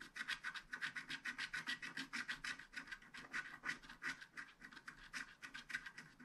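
A wooden stylus scratches details into a unicorn on a flat, black-coated paper scratch card held at its lower edge. Quick, short strokes repeat at a steady, brisk pace, each one a dry, bright rasp with a focused midrange scrape and very little low end.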